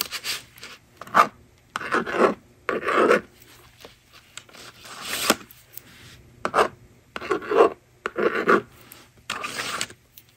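A yellow plastic stylus rasps numbers onto the honeycomb screen of a small plastic magnetic drawing board lying on a table. Short bursts of dry, scratchy rubbing and scraping come in uneven clusters with brief silent gaps between them. The strokes are broad and midrange-centered, with a faint hiss reaching into the bright range.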